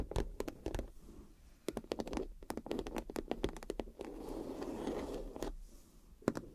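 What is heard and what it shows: A clear PVC vinyl makeup bag with gold glitter and a cactus print is tapped and scratched with fingernails. Quick, dry taps with almost no ring alternate with softer stretches of scratching across the plastic.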